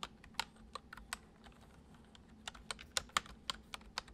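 Fingertips gently tap the keys of a full-size white plastic computer keyboard resting on a wooden desk, typing. There are 13 short, bright clicks with almost no ring, arriving in two loose bursts separated by a quiet pause, over a faint low hum.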